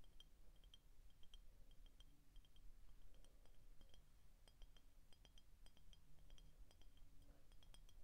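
Short painted fingernails tap the body of an empty, hollow clear glass soda bottle with a label on the back. The result is a quiet, rapid series of light, bright glassy clinks over a low, steady rumble.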